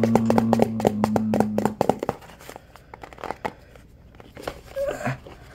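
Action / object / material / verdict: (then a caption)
tap / hand-sized plastic tub with lid / plastic / none. Fingertips and nails tap rapidly on the sides and label of a hollow, hand-sized white OxiClean plastic tub with a blue lid. The clip opens with a dense run of quick, hollow clicks over a steady low tone for about two seconds, then thins into sparser, quieter taps and scratches.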